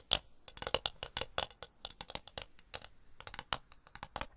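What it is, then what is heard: Ceramic plate tapped and scratched with nails. A floral ceramic plate, solid and empty, is tapped and scratched with long blue nails on its rim and face while held flat and then upright. About 22 quick, bright clicks and short scratchy strokes follow in an uneven rhythm, with little low end. Each sound stops almost at once with no ringing.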